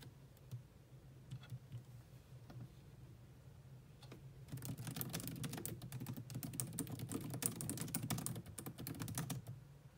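Both hands type on a grey laptop's black plastic chiclet keyboard with long manicured nails and fingertips. A few scattered, quiet key taps give way after about four and a half seconds to a dense, rapid run of sharp, bright clicks. A low steady hum runs underneath throughout.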